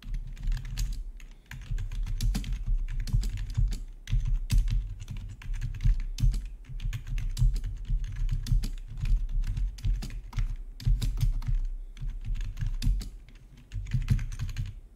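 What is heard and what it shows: Fingertips type on the keys of a full-size black plastic backlit RGB membrane gaming keyboard with a hollow body. Rapid, continuous tapping produces dull, low-heavy clacks with brief bright clicks, broken by a few short pauses.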